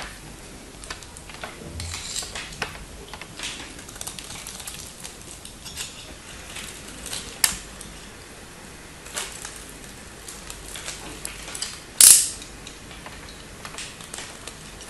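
A small solid bar of pink-and-white striped soap is held in the fingers, its long nails visible, and scraped and carved with a metal knife blade, sending shavings onto a pile of soap flakes. The sound is a steady run of soft, bright scraping and crisp flicks. It is broken by a sharper snap near the middle and a louder crackling cut near the end.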